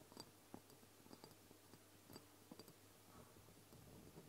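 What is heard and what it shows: Long blue nails tap and scratch the sides and partly paper-labelled surface of a medium brown glass castor oil dropper bottle holding liquid on a table. Soft, quiet clicks and light scratching rasps come in brief bursts over a low steady background hum.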